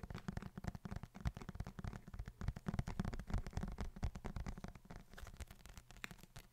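Fingertips tap and scratch the leather cover of a brown leather-bound book held up in both hands. The result is a dense run of quick, soft, muffled taps mixed with light scratching, mostly low and dull with very little brightness.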